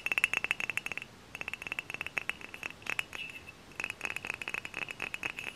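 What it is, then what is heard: Glass bottle tapped. A tall, hollow, dark glass cider bottle is tapped and scratched up close with long fingernails. Rapid clicking taps ring out bright and glassy around 2.7 kHz in quick bursts, separated by brief pauses and softer scratching.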